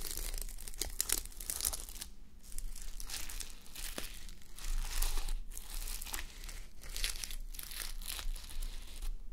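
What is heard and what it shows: Long nails scratch and rub a flip-sequin sleep mask, with plastic sequins on fabric, resting on a mannequin head. Dense, bright crinkling and scratchy rasps come in uneven waves over a steady low hum.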